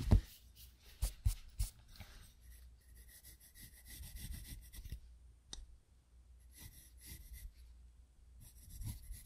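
A graphite pencil strokes and scratches across a spiral-bound paper sketchbook resting on a wooden desk while drawing. Soft, papery rasping comes in bursts, with three sharper taps near the start and quieter scratching passages later on.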